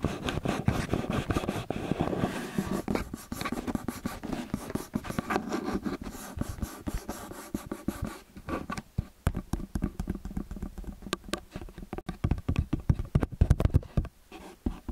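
Fingertips and long nails tap and scratch the metal capsules of a small metal XY stereo microphone. Dense, close scratching and rubbing dominate the first eight seconds, heavy in the low end. Sharper, separate taps follow with brief, muffled bursts.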